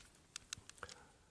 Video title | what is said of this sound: Smok Procolor kit unboxing review and test | Slight rattle coming off the fire up button. Very slight though.